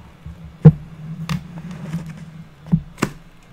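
A square, solid, unfinished pine wood board lying on a table is tapped and scratched with the long natural nails of both hands. Short, dull, low taps with almost no ring stand out over a steady low hum, with soft scratching in between.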